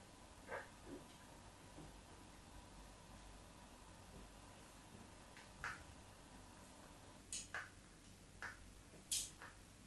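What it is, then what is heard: Bar of soap. A solid white bar of soap with cross-hatched scoring, held in the hand, is scratched with the tip of a craft knife. Short, scattered scrapes and ticks, some with a bright high edge, stand out against a quiet, steady background hiss.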